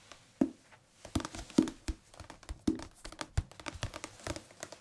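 A thick, solid softcover Korean language textbook with a blue and white cover is held in the hands and tapped on the cover with the fingertips. It gives quick, dull, papery taps and soft thuds at an irregular pace, each dying away almost at once, with faint rustling between them.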